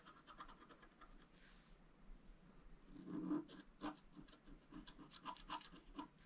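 A flat black-coated scratch-art card, held down by one hand, is scratched with a thin wooden stylus. A quiet series of short, dry scratching strokes rasps at an uneven pace, with a soft hiss near the start, the loudest stroke about halfway through, and lighter scrapes to the end.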